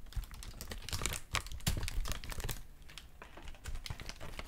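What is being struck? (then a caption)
Thin paper sheet. A thin, white, crinkled paper sheet is held in both hands and crumpled and crinkled with fingertips and nails. The result is a dense, irregular run of sharp, dry crackles and rustles with bright, high-reaching snaps. Louder bursts rise and fall over a soft low rumble throughout.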